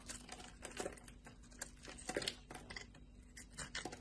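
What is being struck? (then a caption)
Bar of soap cut with a metal blade. A solid rectangular bar of light blue soap, held in a hand with long red nails, has thin strips and flakes shaved and cut off with a metal utility blade, leaving a flat surface. Quiet, dry, crisp scraping and crackling bursts with a bright, papery edge repeat irregularly throughout.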